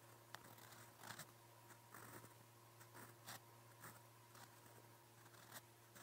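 A silver steel fountain pen nib, held in the fingers, scratches across a lined white notebook page lying on a flat surface as it writes Korean letters in blue ink. Soft, bright scratching strokes come in short bursts over a low, steady hum.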